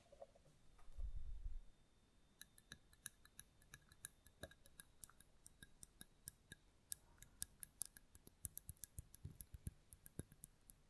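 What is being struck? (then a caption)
Mosaic glass candle holder. A small, round, hollow white mosaic-glass votive holder with a lit candle inside is held in one hand and rapidly tapped and scratched with long nails. After a brief low rumble near the start, dozens of quick, dry, bright clicks and ticks follow at an uneven pace, each dying away almost instantly.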